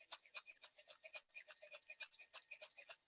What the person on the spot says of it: as i'm shaking it you can hear the sound of the stones